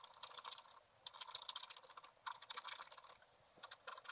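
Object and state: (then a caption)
Scratch art paper being scratched. A flat sheet of black wax-coated scratch art paper is scratched with a wooden stylus in short strokes. The result is quick, dry, bright scratching that comes in bursts with brief pauses between them, with almost no low end.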